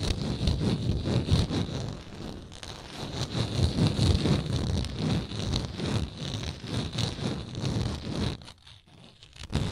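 Long nails tap and scratch the round wooden lid of a small frosted glass moisturizer jar held sideways. Quick, uneven taps blend with dry, rustling scratches, mostly low and dull in tone. The sound thins out near the end before one last louder tap.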